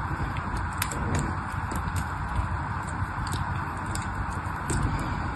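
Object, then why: Soap bar. A small black-handled knife shaves thin curls off the surface of a solid pink bar of soap held between the fingers. The scraping cuts make a steady, low, dense rustle, with soft, bright crackling ticks scattered through it.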